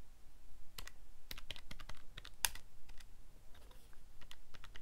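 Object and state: Plastic calculator buttons being pressed.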